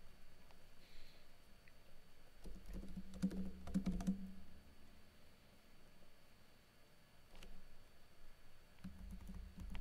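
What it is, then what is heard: Plastic laptop keyboard being typed on. Fingertips with blue-painted nails type on a plastic backlit laptop keyboard with plastic keycaps, producing soft, quick clicking taps. The tapping clusters into a busier burst in the middle, then thins to scattered keystrokes over a steady low hum.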